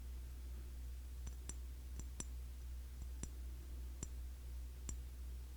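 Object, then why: Glass cologne bottle. Light taps on the glass body of a cologne bottle, a Classic Match clone of YSL Y. Eight sharp, irregularly spaced clicks with a bright high ring sit over a steady low hum.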